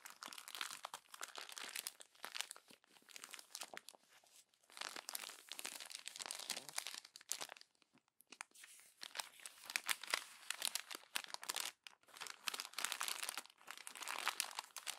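A hand crumples glossy paper magazine pages and presses them against a stack of crumpled pages. Dense, bright crinkling and crackling comes in bursts with brief pauses, with almost no low end.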